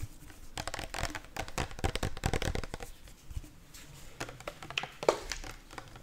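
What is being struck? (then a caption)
Plastic sport bottle. A hollow, apparently empty pink translucent plastic sport bottle with a pink cap, held sideways, is tapped fast with long nails. The result is a rapid, uneven stream of crisp, dry clicks with a slight crinkly edge, each dying away almost at once with no ring.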